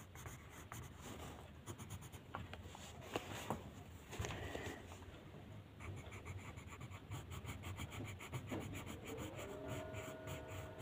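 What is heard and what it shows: The tip of a blue wooden colored pencil rubs and scratches across a thin white paper mandala coloring sheet lying flat on a table, in short coloring strokes. The sound is a soft, steady, scratchy rubbing with brief bright ticks and a low underlying rumble. Near the end, a faint tonal hum rises beneath the strokes.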